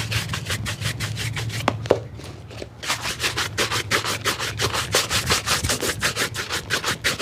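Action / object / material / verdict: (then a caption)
scrape / leather shoe and bristle brush / leather / none. A black leather shoe held in the lap has its upper rubbed vigorously with a wooden-backed bristle shoe brush. Quick, rhythmic back-and-forth strokes make bright, scratchy swishes over a steady low hum. Two sharp clicks sound just before a short lull, then fast, even brushing resumes and continues to the end.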